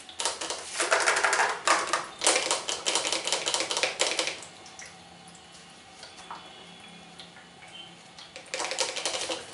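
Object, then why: Plastic facial steamer housing. Fingertips and nails tap quickly on the hollow housing and arms of a white plastic salon facial steamer on a stand, making dense bursts of bright, dry clicks with almost no low end. The rapid tapping runs for about four seconds, drops to a near-quiet stretch with only faint scattered taps, then resumes briskly for the last second.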